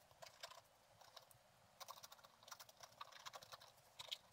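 A thin wooden stylus held in the fingertips scratches a flat page of black-coated scratch-art paper with a gold underlayer in a book. Repeated short, dry scratch strokes come in quick, irregular bursts, bright and crisp with almost no low end. The scratches stay quiet, with brief pauses between clusters.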